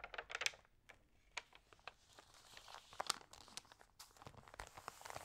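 Long nails scratch and rub the crinkly, water-sprayed pages of an open thin-paper magazine. The result is a quiet run of sharp, bright crinkles and dry scratching rustles, with little low end and no ringing between the bursts.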